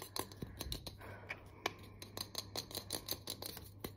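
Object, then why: Aluminium aerosol spray can with plastic cap. A handheld, hollow, pressurized aluminium aerosol deodorant can with a teal plastic cap is tapped and scratched quickly with long nails and fingertips. A rapid series of sharp, bright clicks with a very short metallic ring mixes with light scratching over a faint, steady low hum.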